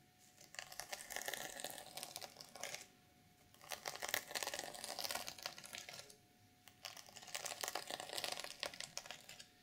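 Long nails scratch the reversible sequin fabric cover of a black sequin-covered notebook, near the top edge and across the surface. Three bursts of bright, crackly, fast scratching are separated by short quiet gaps, with a faint steady tone in the background.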